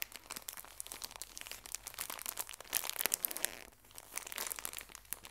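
A full pocket tissue pack in thin plastic wrap is squeezed and crinkled by fingertips with long nails. A dense run of quiet, bright, crackly crinkles fills the clip, swelling louder around the middle before easing off and picking up again, with very little low end.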